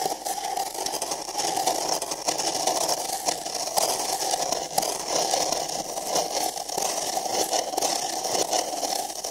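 An empty printed paper cup is held sideways over a microphone while fingertips and nails scratch and rub inside its opening. The result is a continuous, dense scratchy rustle with a hollow midrange tone around 750 Hz and a bright hiss on top, steady in level with no low-end rumble.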